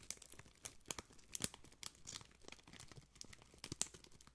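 A printed clear plastic wrapper strip, twisted into a spiral, is crinkled and rubbed with fingertips close to the microphone. Quick, dry, bright crackles and crinkles come in uneven bursts, with a few sharper snaps standing out.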